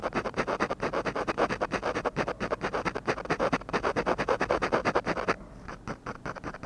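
A ballpoint pen scratches dense, short strokes on a flat sheet of textured drawing paper to shade the lips of a drawing. The rapid, dry scratching comes in quick bursts at about two strokes per second, with a papery midrange rasp and a bright hiss. Near the end, the strokes become quieter and sparser.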